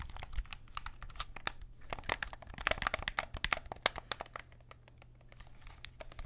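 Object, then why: Plastic game controller buttons. Fingertips tap and press the buttons and sticks of a white and black PS5 DualSense controller with a hollow hard plastic shell, held in both hands. Rapid, irregular clicky plastic taps sound throughout, crisp and short with no ring, over a faint low hum.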